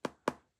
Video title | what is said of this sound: This is the first 64-bit iPad, and it's still on iOS 7! | a non-laminated display which you can hear when I tap on it there